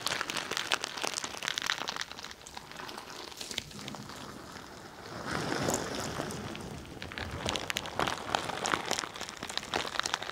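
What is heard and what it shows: A hand-sized, squishy pink bingsu ball with a translucent stretchy plastic skin and a filling of bead-like plastic flakes is squeezed and scratched with long nails close to the microphone. The filling makes dense, bright crinkling and crackling. Quick clicky bursts alternate with a softer, steadier rustle in the middle.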